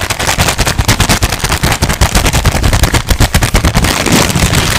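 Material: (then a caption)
Paper. A thin white paper sheet is crumpled, squeezed and crinkled with the fingertips close to the mic. The result is a loud, dense run of fast crackles and pops, with a boomy low-end thump from the close mic under bright, papery crinkle.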